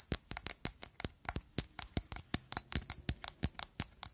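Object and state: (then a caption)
Glass perfume bottle. Long acrylic nails tap and scratch a hollow, rectangular amber-orange engraved glass perfume bottle with a black cap, partly filled with liquid. About 21 quick, bright glassy clicks come in an uneven rhythm, each with a short high ring that dies away almost at once.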